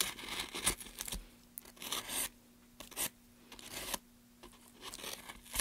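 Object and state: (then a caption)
Pine wood plank being carved. A gloved hand scrapes and carves the end of a solid pine softwood plank with a small blade, making bursts of dry, bright shaving and scraping noise separated by near-quiet pauses.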